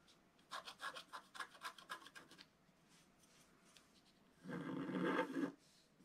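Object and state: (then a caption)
Scratch art paper scraped with a stylus. A wooden stylus scratches a figure and leaves into the black coating of a flat scratch art paper sheet. A quick run of short, bright rasping strokes is followed by a pause, then one longer, louder, continuous scrape with a slightly tonal grind before it cuts off.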